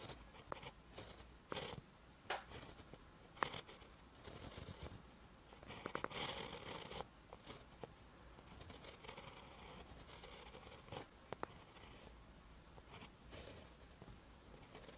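A ballpoint pen tip writes on a lined paper notebook page. It gives off quiet, dry scratching strokes with short bright bursts and small taps between them. The sound stays soft and close throughout.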